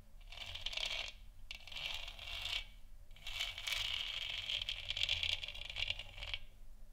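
Long nails scratch the front of a lit, hollow plastic moon lamp sphere, then tap its top. Dry, bright scratching comes in three bursts centered around 3 kHz, separated by short pauses, with a faint low hum underneath. The third burst is the longest and ends in a short fade.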